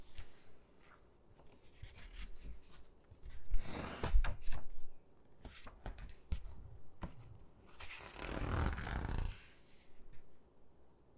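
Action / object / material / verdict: scrape / hardcover book with glossy paper pages / glossy paper / none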